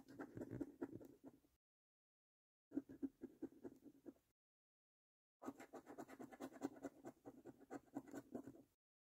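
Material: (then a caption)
Cardboard. A coin held between the fingers scratches the remaining latex coating off the numbers on a thin, flat, printed cardboard lottery scratch card. Three bursts of quick, repeated, dry scratching strokes are separated by short silences. The sound is soft and raspy, centered in the low midrange.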